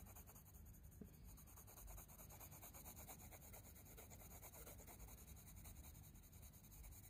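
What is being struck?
Paper sketchbook page with wooden coloured pencil.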